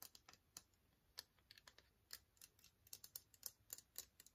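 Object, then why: Long slim hard plastic case. Fingernails tap along the length of a long, slim, transparent hard plastic case that is hollow and empty. Nineteen quick, dry, bright clicks come in an uneven rhythm, each dying away almost at once with no ring. The whole sequence is quiet and sounds much like light typing.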